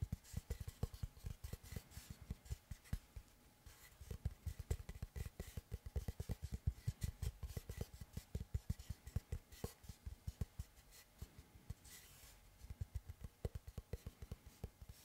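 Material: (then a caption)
Wood. Fingertips and nails scratch and tap the surface of a large, round, solid wooden tree slice board held upright. Many quick, dull, low knocks come in uneven bursts, each dying away almost at once, with soft scratchy rasps between them.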